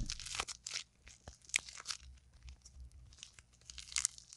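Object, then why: Lump of modeling clay. A soft, solid, fist-sized lump of pink and purple modeling clay, held in both hands with long painted nails, is kneaded, squeezed and torn apart. Bright, crunchy tearing and crackling bursts come in quick irregular clusters over a low, steady hum.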